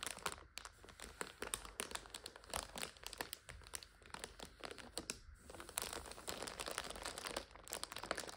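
A full plastic multipack of instant noodles lies on its side while hands squeeze and crinkle it and long nails scratch across the plastic. The result is a quiet, bright, continuous crackling and crinkling with short snaps and brief lulls throughout.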